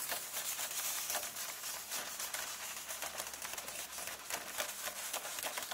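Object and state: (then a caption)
Paper book pages being scratched. Long nails and fingertips rub and lightly scratch the paper pages of a paperback illustrated book lying open on the same spread. The result is a steady, bright, dry scratching and rustling with irregular soft strokes and almost no low end.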